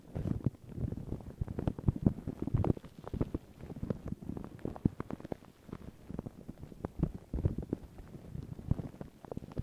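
Long pink nails and fingertips scratch and rub thin, crinkled white paper tissue stretched over a round microphone head. A dense run of soft, muffled crinkles and scratchy bursts continues throughout, mostly low and boomy with little brightness. It comes in uneven clusters that swell and ease off.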